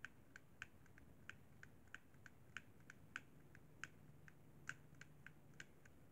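An index fingertip taps the thumbstick and buttons of a hollow, white plastic Xbox 360 controller. About twenty quiet, dry, bright clicks come at an uneven pace and die out almost at once. A steady low hum sits underneath.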